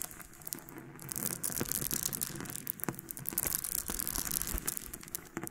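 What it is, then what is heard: Loose freshwater pearls. Both hands with long painted nails scratch and rub through a pile of small, solid nacre loose freshwater pearls on a pink surface. A dense, bright clicking and rattling swells after the first second and keeps going as the pearls roll and knock against each other, with sharper ticks scattered throughout.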